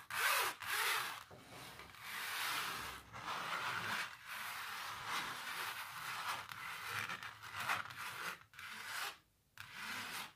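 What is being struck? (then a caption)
Textured painted canvas. Long natural nails scratch and rub across the textured paint of a canvas painting of a cellist under blue light. The result is a dry, bright, hissing scrape with almost no low end, coming in sustained strokes that swell and fade, broken by brief pauses and one near-silent gap shortly before the end.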